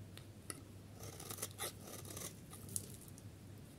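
A solid yellow bar of dry soap, held in the hand, has its edge shaved with a metal utility blade, producing crumbly shavings. Quiet, irregular dry crunching and scraping is heard, with bright crackly bursts and a few sharp clicks over a low steady hum.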